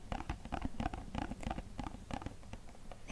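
A small, hollow, green-and-white printed cardboard product box is held between both hands and tapped and scratched with fingertips and short nails. A quick, steady patter of soft, dull taps with a low hollow thump mixes with light scratching. Each tap dies away almost at once, and the sound stays quiet throughout.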